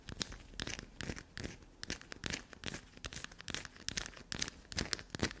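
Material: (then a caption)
Soap. Long black nails scratch and dig into a solid black soap block held upright. The result is a fast, irregular run of dry, bright scraping and crinkly tearing bursts with no ring after each stroke.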